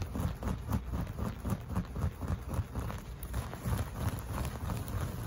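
Short fingernails and fingertips of both hands scratch and rub across a beige looped, bouclé-style carpet covering a flat surface. The result is a quick, steady run of soft, muffled, low brushing strokes, about four per second, with very little bright edge.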